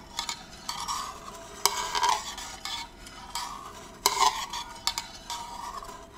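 Fingers twist the lid on and off a small, round, hollow and empty gold metal candle tin and rub its rim. Bright metallic scraping with a ringing tone near 930 Hz runs in bursts, broken by sharp clicks that die away almost at once.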